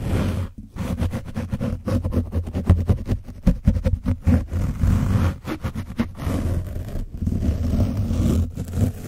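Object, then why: Foam microphone windscreen coated with dried paint, rubbed with a foam brush. A foam brush is rubbed over the back and top of an orange foam microphone windscreen coated with dried paint. The result is a steady run of rough, close-up scratching strokes heard as a muffled, booming rumble. It is dominated by deep low-end thumps around 90 Hz, with very little high or bright content.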